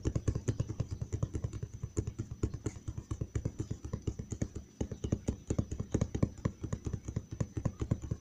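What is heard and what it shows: Fingertips and nails tap quickly on the side panel of a large, hollow brown cardboard box, producing a steady run of about fifty short, dull, low thuds that die away almost instantly. Faint, bright nail clicks sit on top, with one brief pause near the middle before the tapping resumes.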